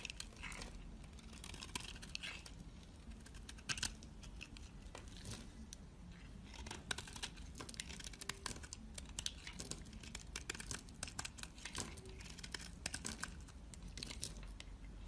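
A utility knife blade cuts into the scored surface of a solid, hand-sized black bar soap and shaves off flakes, held by a hand with long red nails. Quiet, dense crisp scraping and cutting crackles run throughout, with many short bright clicks and brief tearing, crinkling textures over a low background rumble.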